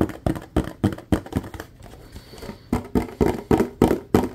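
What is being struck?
Plastic bottle.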